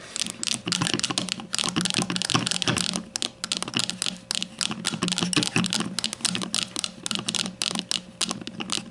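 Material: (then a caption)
Plastic. Long matte nails of both hands tap rapidly on the front label of a grey plastic deodorant stick standing upright on a table. The taps come in dense, fast flurries of bright, dry clicks that die away almost instantly, with a faint steady tone running underneath throughout.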